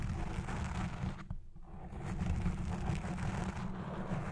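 Fingertips and long red nails of both hands scratch all over a black foam windscreen on a Blue Yeti Pro microphone. The result is a dense, muffled, rumbling scratch heavy in the low end, with a brief quieter lull partway through before the scratching builds back up.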